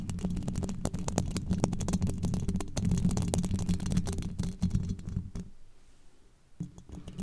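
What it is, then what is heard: Metal microphone grille. Very long pointed black nails scratch and tap across the hollow, domed steel mesh grille of a microphone, producing a dense run of quick, scratchy taps over a deep, boomy hum. The sound quiets briefly near the end before a few more taps return.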